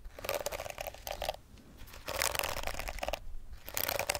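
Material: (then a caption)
Plastic. Long acrylic nails scratch across the rows of flexible plastic bristles on a pink plastic detangling hairbrush held close to the mic. Bursts of dry, bright crackling scrape in quick passes, with brief quieter pauses between the strokes.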